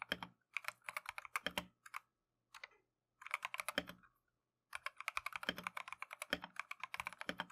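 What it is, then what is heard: Plastic mechanical keyboard. Gloved fingertips type on a plastic Keychron V1 mechanical keyboard with Tangerine switches and green/cream Matcha PBT keycaps. Bursts of quick, bright, dry clacks come with short pauses in between. Each tap stops almost at once, followed by a steadier run of keystrokes at the end.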